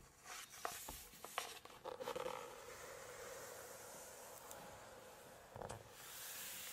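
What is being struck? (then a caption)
Glossy paper page of a large hardcover book. Long nails tap and scratch across a glossy full-page photo in a large hardcover Chinese cookbook, then lift the page. Quick, crisp taps and brief scratches give way to a steady papery rustle and a soft swish as the glossy page moves. The sounds are quiet and bright, with almost no low end.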